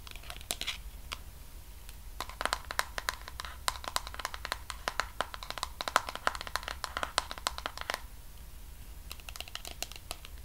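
Fingernails tap and scratch on the white lid top and sides of a medium pink plastic cosmetic jar of body cream, making rapid, bright, clicky taps with almost no ring. The taps come in dense bursts with a quieter, sparser stretch near the end, over a faint steady tone around 1 kHz and low background rumble.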